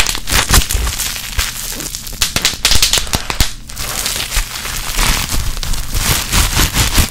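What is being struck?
Plastic bubble wrap.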